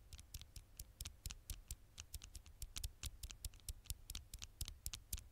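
Long fingernails tap and lightly scratch the flat glass screen of a dark smartphone held in one hand. A quick, irregular run of sharp, bright clicks dies away almost instantly, with faint scratchy texture between taps over a low, steady hum.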